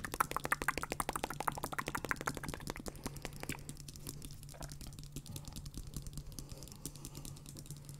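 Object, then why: Plastic over-ear headphone earcups. Fingertips and nails tap and scratch the hollow plastic earcups of over-ear gaming headphones worn on the head, with both hands working the earcups and headband. Quick, dry, clicky taps come in a fast, uneven flurry for the first few seconds, then ease into a softer, continuous scratching texture with lighter taps scattered through it. A low, steady hum runs underneath the whole time.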